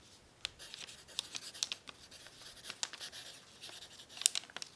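A thin, crumpled brown paper sheet lies flat on a tablecloth, held down by one hand, while a graphite pencil tip writes across it. The result is quiet, bright scratching and crinkling with sharp, separate ticks and almost no low end. Each stroke dies away instantly.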